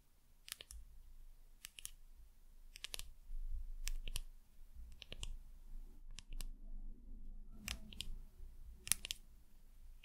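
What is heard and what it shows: Long nails tap a small frosted glass pipette dropper bottle with a label, making sharp, bright clicks in irregular clusters. Each tap is a dry tick that dies away almost instantly over a soft low rumble.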